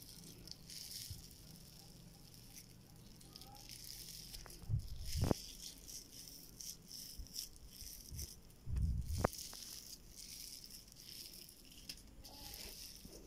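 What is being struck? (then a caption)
Slime packed with polystyrene foam beads. Pink slime packed with small white polystyrene foam beads, spread as a soft solid mass on a flat surface, is pressed, squeezed and kneaded by fingers. It gives off quiet, irregular crunchy popping and rattling crackles, with two louder, bassier squishes as the mass is pushed together.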